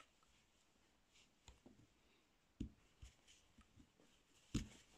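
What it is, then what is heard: Bar of soap being carved. A metal carving tool with a purple handle scrapes and shaves curls off the surface of a solid, palm-sized pink bar of soap held in one hand, with the shavings collecting on a cloth below. Soft, quiet scraping is broken by a few sharper, brief ticks of the blade against the soap, each fading almost instantly.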